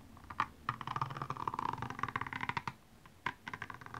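The pointed tip of a makeup brush handle scratches across the small rhinestones covering a single blue high-heel shoe, which lies hollow and empty on its side. A dense run of quick, dry ticking clicks with a bright edge breaks off briefly near the three-second mark, then a sharper tick leads into a few more scratches.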